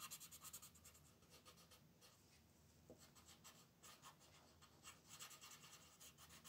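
A red wooden colored pencil is rubbed in short, scratchy strokes over a small area of a thin printed coloring book page lying flat on a table. The strokes make a quiet, bright, papery scratching that comes in quick, uneven bursts, easing off briefly in the middle before picking up again.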